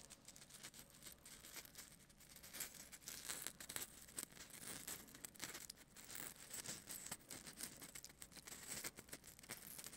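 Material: Polystyrene foam.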